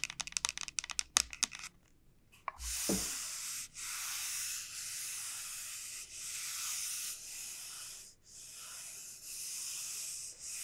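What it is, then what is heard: Dried bottle gourd. Fingernails and fingertips work over the shell of a large, hollow dried bottle gourd, opening with a rapid series of sharp, dry clicks. This gives way to slow, steady scratching and rubbing strokes. The strokes produce a bright, hissy texture broken by brief pauses between passes.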